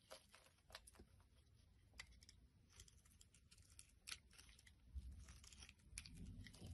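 A box-cutter blade repeatedly scrapes a solid pink translucent soap bar, shaving off thin curls. Quiet, crisp, bright scraping and crackling strokes come one after another over a low, steady rumble.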